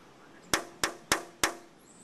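A pocket knife taps four times on a DP-rated glass window pane that is not impact rated. Each tap gives a bright, sharp clink with a short ring around 320 Hz that dies away quickly, marking the pane as non-impact rated.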